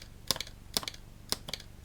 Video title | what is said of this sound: I'm trying Micro Four Thirds for the first time. | it passes the cheap door sounding test. So, that sounds pretty good